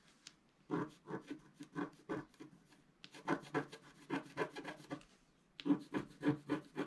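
A pointed wooden stylus held in the fingers scratches a flat, black, wax-coated scratch-art card about A4 in size, lying as a solid sheet on a table while the other hand holds it flat. Quick, dry, rasping strokes come in three bursts separated by short pauses. Each stroke is brief with a soft, papery scrape and no ring afterward.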